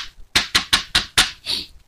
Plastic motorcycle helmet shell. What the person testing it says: itu ketahuan bunyinya, apalagi ditepuk-tepuk kayak gini